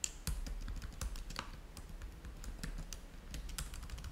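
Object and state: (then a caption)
Plastic laptop keyboard being typed on. Fingertips type steadily on the low-profile keys of a black plastic laptop keyboard, giving a continuous run of quick, dry clicks. Each keystroke is short and bright, with a soft low thump underneath and almost no ring.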